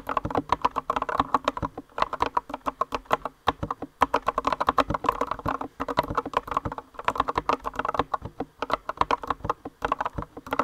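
Both hands with long nails type continuously on a compact green mechanical keyboard with rounded white and green plastic keycaps. The result is a rapid, steady patter of short, crisp clacks centered around 1 kHz, broken by brief pauses between bursts.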